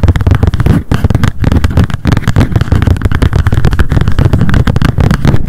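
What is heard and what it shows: Long decorated acrylic nails tap rapidly on a small pink m.memo spiral-bound paper notebook with a card cover, held in the hands. The result is a dense, continuous run of quick, dull, low-pitched taps with a papery rustle, each one short with no ring.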